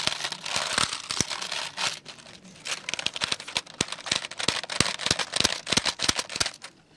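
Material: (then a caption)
Plastic. A black plastic computer keyboard is held sideways, then upright, while fingertips tap and press its keys. The first two seconds bring a dense, bright, crinkly rustle of clicks. After a brief quieter pause come rapid, irregular, sharp clacks, each dying away almost instantly.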